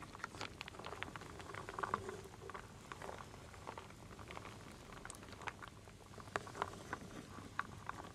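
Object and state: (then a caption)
Wooden beads and acorns stirred in a wooden bowl. A wooden spoon stirs small solid wooden beads and acorn pieces in a full wooden bowl. Over about eight seconds it makes a steady, soft rattling clatter of dense, dry little clicks. A few sharper wooden knocks stand out near two, six and a half, and seven and a half seconds.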